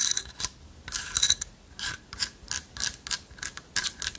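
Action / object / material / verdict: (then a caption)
scrape / carved light-wood owl figurine with lattice body / wood / none. Long nails scratch into the holes of a light-wood carved owl figurine with a hollow lattice body. The result is a quick series of short, dry, bright scratching bursts with almost no low end, each stopping abruptly with no ring.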